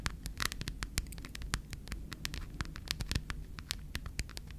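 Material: Plastic.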